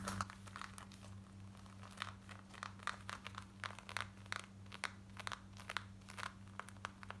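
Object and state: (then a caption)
Denim jeans being scratched. Long nails scratch quickly across worn light grey denim jeans, working over the back pocket, waistband and front. Short, bright rasping strokes come in rapid bursts above a steady low hum.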